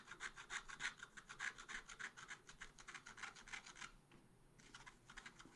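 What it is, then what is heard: Scratch art paper being scraped. A wooden stylus scrapes dense strokes across a black-coated scratch art paper page in a small spiral pad. Quick, bright, rasping scratches repeat in a steady rhythm, ease off briefly near the end, then resume.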